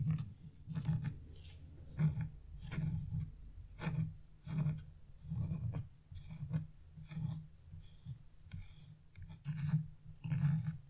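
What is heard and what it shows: A metal chisel scratches a leaf outline into a flat, black-coated scratch-off art page, leaving black flakes lying on the surface. Short, irregular rasping strokes repeat about once a second, each a dry scrape with a low, thick body and thin bright streaks that stop almost at once.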